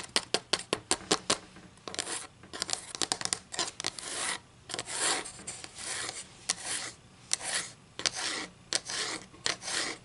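Long green acrylic nails tap and scratch quickly across the printed face of a solid, flat wooden ruler held slanted above a table. A run of sharp, bright clicks opens the clip, then gives way to longer, raspy scratching strokes mixed with scattered taps. The sound is almost all high, dry texture with very little low end.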